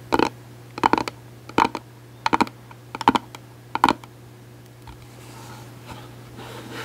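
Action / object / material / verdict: tap / glitter hard-shell case / plastic / none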